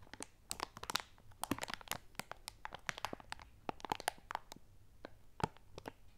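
A large clear plastic bag with a red top, full of dry lentils, is held upright on a pink pad and squeezed and crinkled with fingertips and long nails. It makes a quiet, steady stream of sharp plastic crinkles and gritty crunches, with brief clicks that stop almost at once.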